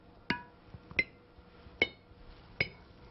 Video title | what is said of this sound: Home Food Preservation: How To Make Jams & Jellies | You can hear that clear ringing sound. Tells me that the jars are in good shape and they're completely sealed.